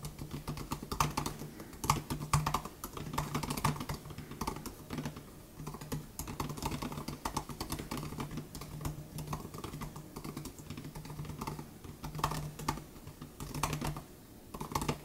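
Two hands type with their fingertips on the plastic butterfly keys of an aluminum 2018 MacBook Air laptop, giving a steady stream of quick, short clicks. The clicks carry a low hum near 150 Hz underneath and come in uneven bursts, with a few louder taps standing out.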